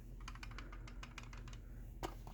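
A brand-new plastic Chamberlain/LiftMaster garage door opener remote from September 2023 is shaken, and its case rattles audibly with quick, light clicking ticks over a low steady hum. The rattle comes from the plastic case clips not fitting together tightly, blamed on poorer quality control.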